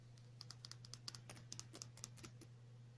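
Long natural nails tap a small clear glass nail polish bottle with a black cap, partly filled with clear polish. Thirteen quick, bright clicks come in an irregular rhythm over a steady low hum.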